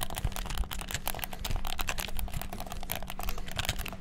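Fingertips rapidly bash the buttons of a black, hollow plastic gamepad, producing a dense, fast stream of short, dry clicks with bright, sharp edges. A faint steady low hum sits underneath the clicking throughout.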